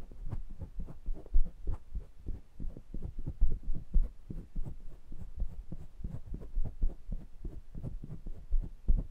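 Fingertips press, tap and rub the round metal mesh grilles of two small metal pencil microphones. The result is a steady run of soft, deep, muffled thumps, all weight in the low end, with a faint scratchy rubbing texture between them.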